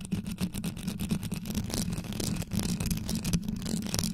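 Long yellow nails scratch and tap quickly across the top and sides of a rhinestone-studded grille on a black condenser microphone. The result is a dense, deep, rumbling scrape with a steady low hum and a stream of fast, bright clicks from the rhinestones.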